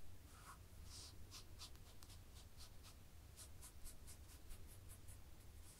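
Long fingernails scratch a black and white textured knit fabric, with the hands held close to the camera. The result is a quiet series of short, bright, scratchy strokes over a steady low hum.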